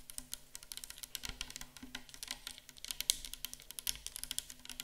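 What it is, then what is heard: Plastic bottle tapped with nails. A clear 500 ml plastic micellar water bottle, full of liquid and standing on a table, is tapped quickly with long acrylic nails. The result is a rapid, uneven string of short, bright, clicky taps with almost no ring and little low end, some hits sharper and louder than others.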